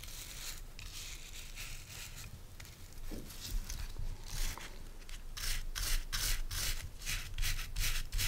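Fingernails scratch the stiff natural bristle tips of a hand-sized oval body brush with a wooden base, held in the hand. Dry, bright scratching rasps come in repeated strokes that grow quicker and louder toward the end, over a low background rumble.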